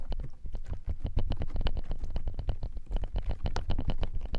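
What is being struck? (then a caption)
Clear slime on a plastic tray. A flat layer of clear, glossy slime on a frosted plastic tray is pressed and patted by the fingertips and palms of both hands, which have long nails. A rapid, continuous run of soft, sticky, squelching pats is heard, deep and muffled, with brief clicky edges on each touch. The sound is soft and sticky rather than hollow.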